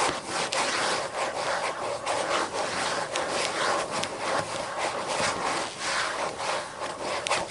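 Long green nails tap and scratch across the white paper pages of a thick book lying open. A steady, dry, rasping scratch fills the clip, bright and papery, with little low end and a few sharper taps cutting through.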